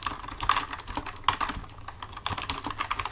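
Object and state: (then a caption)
Plastic computer keyboard being typed on. Both hands type with their fingertips on a full-size black plastic computer keyboard resting on a desk. The result is a steady run of quick, dry clicking taps with a bright tone around 1 kHz, each dying away almost at once. Louder clusters of keystrokes stand out among softer ones.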